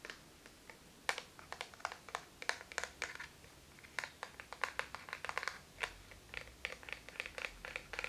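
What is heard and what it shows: A small, hollow, flat black plastic eyeshadow palette with a clear lid is held in both hands and tapped with the fingertips and nails. It makes a quick, irregular run of sharp, bright clicks that die away almost at once, over a quiet background.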